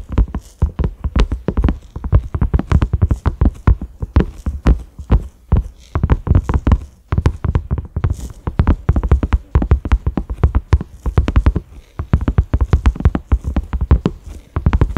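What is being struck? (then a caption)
Silicone pot lid. Fingertips and nails of both hands tap quickly on a large, flat, cream silicone pot lid with concentric ridges and a black center knob. The taps come in dense, rolling bursts of short, dull thuds with deep low weight and no ring. They sound soft and muffled, like rapid hoofbeats.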